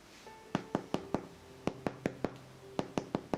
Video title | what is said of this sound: Пшенично-ржаной хлеб на спелом тесте в кастрюле | il suono è simile a un picchiettio su una scatola di legno